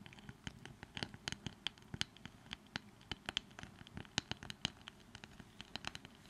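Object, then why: Small wooden brush with a flat wooden handle. Long nails scratch and tap quickly on a small, light wooden brush with a flat wooden handle. The quiet, dry sound is a steady run of sharp, bright clicks with a soft scratching texture between them, each tap ending almost instantly.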